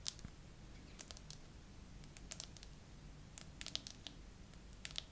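Long nails slowly tap and scratch a phone in a clear glitter plastic case decorated with raised charms and pearls. Quiet, sharp, high-pitched clicks and light scratches come in irregular clusters over a low steady hum.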